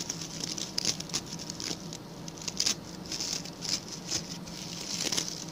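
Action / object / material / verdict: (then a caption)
scrape / coir bristle brush / coconut fiber / none. A small round, ring-shaped brush of stiff brown natural coir coconut-fiber bristles with a center hole is held in the hand, and its bristle tips are scratched, first with fingernails and then with a pink plastic tool. Quick dry, bright scratching and crackling patters run throughout, with short sharp flicks over a faint low hum.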